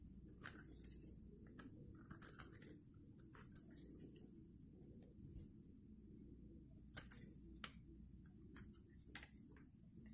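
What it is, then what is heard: Dry soap bar. A solid green-and-white striped dry soap bar, held in the hand, is scraped along its edge with a metal blade so crumbs fall off. Quiet, short, crisp scratches and bright crunchy clicks come in scattered bursts over a steady low rumble. The strongest crackles stand out near the start and again about two-thirds of the way through.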